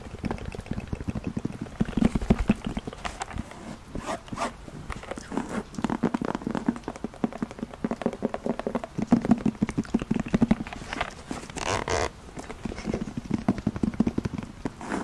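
Long nails tap and scratch the surface of a black faux leather zip case held close to the microphone. The result is a steady stream of quick, soft, dull taps with scraping in between, mostly low and mid in tone with little brightness, continuing for the whole clip.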